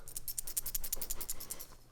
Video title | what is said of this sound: 5 Ways to Avoid Death on a Motorcycle | once you shake it listen to this you hear that what I found out is actually there was a loose washer between the nut